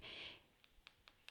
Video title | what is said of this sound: Iced buns | when you tap the bottom of it it should sound nice and hollow so that means that they are cooked